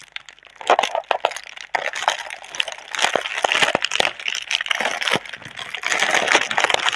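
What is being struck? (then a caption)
Plastic air-cushion packaging film. Both hands hold a single hollow, partly air-filled, clear plastic air-cushion packaging tube with green print, while fingers with long red-painted nails squeeze and crinkle the film. The result is dense, bright crinkling and rustling, scattered with sharp, dry crackles that stop instantly and carry almost no low end.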